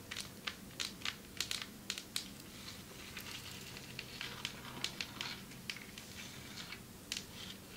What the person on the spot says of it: Long nails tapping on marble table 6:33 - 10:18